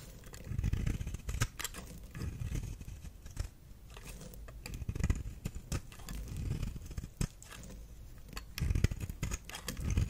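A knife blade shaves and carves thin red flakes from a solid, dry, red star-shaped bar of soap held in the hand. The sound is a steady run of short, crisp scrapes and clicks over a soft, low, muffled rumble, with a few louder cuts near the start and end.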